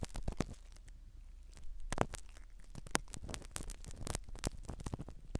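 A black spiral ear pick scratches the foam cover of a small black microphone set inside a silicone dummy ear. It makes close, crackly rustling in quick bursts, with a soft, muffled low rumble beneath. A few sharper, brighter scrapes stand out.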